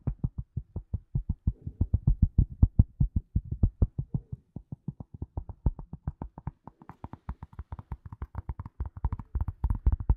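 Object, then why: Leather glasses case. Long nails and fingertips tap and scratch the surface of a flat, hollow grey leather glasses case held in both hands in front of the mic. A rapid, steady stream of short, dull, low-pitched thuds is heard, each dying away almost instantly. Toward the end the taps turn slightly brighter and scratchier.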